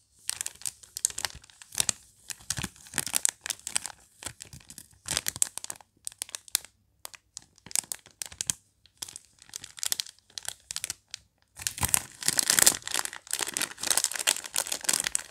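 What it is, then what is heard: Plastic film candy bag. Gloved fingertips crinkle and tear an opened, mostly empty, hand-sized Haribo Chamallows candy bag made of printed plastic film, and a small torn strip flies off. Bursts of bright, crackly crumpling and tearing come in quick clusters separated by brief pauses. The sound builds to a denser, louder stretch of continuous crinkling near the end.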